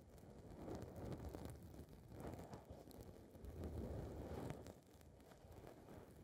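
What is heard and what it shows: A small blue foam windscreen on a recorder's microphone capsule is scratched and rubbed by long red fingernails. The result is a dense, low, muffled rustling and crackling that swells and fades in uneven waves, with faint bright ticks.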